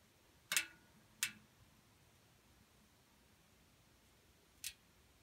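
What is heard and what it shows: A solid pink bar of soap is grated against the holes of a stainless steel box grater, and pink soap curls push through and fall. Three short, bright scraping strokes are heard, two close together and one after a long quiet pause, each dying away quickly against low background hiss.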